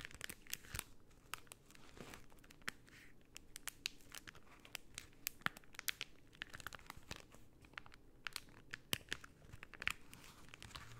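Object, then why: Rolled cellophane tube. A rolled tube of pink cellophane is squeezed and scratched with long painted nails, making a steady stream of quiet, sharp, bright crinkles and crackles. The dense snaps are short and dry, with no ring after them.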